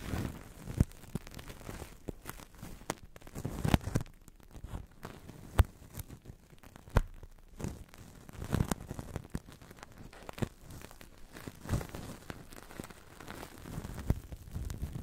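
A large, hollow, thin, translucent blue plastic-film bubble, blown from a Crystal Ball toy, is held over the mic and crinkled and pressed with long dark nails and fingertips. This gives a steady stream of soft, close crinkles and crackles, punctuated by sharper snapping pops. The sound is heavy in the low end, with little bright content.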